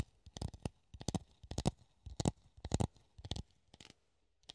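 A hollow clear plastic funnel, held in the hand, is scratched and tapped with the fingernails. It gives an irregular series of short, dry clicks and scratches in quick clusters, each with a hollow low body, bright scratchy edges, and almost no ring.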